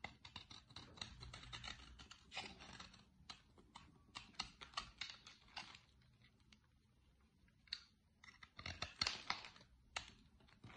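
A metal blade shaves and carves crumbly flakes from the cut face of a solid, dry green soap bar held in a hand with long nails, while an empty cardboard soap box beside it goes untouched. Quiet, bright, dry scraping and crisp crumbling crunches come in quick bursts with short pauses between them, each sound dying away almost at once.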